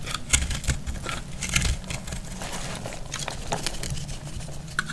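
A solid green-yellow heart-shaped dry soap, already partly cut and held in the hand, is sliced and scraped with a metal utility knife blade. Crisp, bright scraping and crackling ticks sound over a steady low rumble as dry, crumbly flakes break off.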